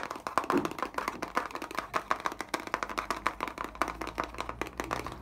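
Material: Plastic.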